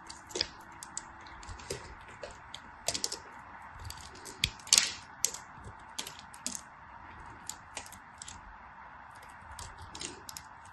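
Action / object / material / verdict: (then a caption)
scrape / glycerin soap bar shaved with a small blade / glycerin soap / none. A solid translucent green glycerin soap bar, held in hands with white nails, is shaved and scraped with a small black-handled blade, and thin slivers come off. Short, crisp, bright scraping clicks and ticks come in irregular bursts over a faint steady midrange hum, each dying away almost at once.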